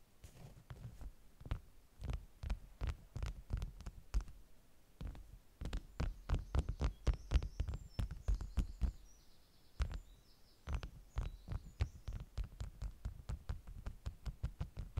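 Long nails rapidly tap and scratch the top sheets of a stack of flat beeswax-coated cotton wraps, producing quiet, dull, low thumps with short, dry decays. The taps come in uneven bursts with brief pauses, and faint high chirps sound in the middle of the clip.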